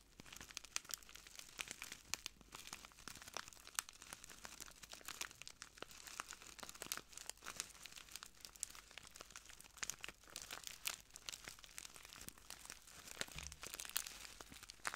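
A small clear plastic bag filled with translucent granules is held in both hands and squeezed and crinkled by fingertips wearing metal rings. Throughout, there is a steady, quiet stream of bright, crisp crackles and fine rustling, with many sharp little snaps and almost no low end.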